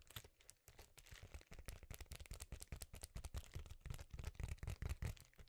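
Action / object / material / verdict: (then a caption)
scrape / foil-laminated bubble insulation sheet / foil and plastic / none. A notebook-sized, flat, thin silver foil-laminated bubble insulation sheet is held in both hands and crinkled and scratched with the fingers. A quiet, dense run of short, dry crackles and scratchy rustles follows, with a low thumpy body under bright crinkly edges.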